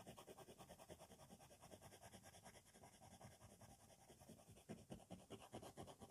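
A black 4B wooden pencil, held in the fingers, scratches its graphite tip across a flat sheet of white drawing paper taped to a board, with a loose cover sheet resting on top. Short, dense hatching strokes shade a dark sky, making a quick, uneven run of dry scratching rasps. The strokes grow a little louder and more separate near the end.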